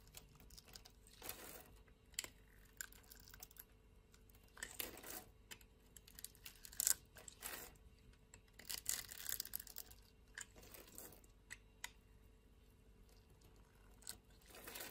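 A blade scrapes a grid pattern into a solid green dry soap bar held in a hand with long nails, and flakes break off. Quiet, dry, crackly scraping comes in short bright bursts, with crisp crumbling ticks between strokes.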